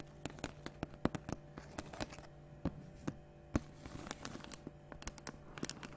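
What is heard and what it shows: Long nails tap on a large, clear 1.5 L plastic water bottle that is capped and seemingly partly filled with water. The result is an irregular run of soft, short, dry clicks and light crinkles, with a few sharper taps. A faint steady low hum sits underneath.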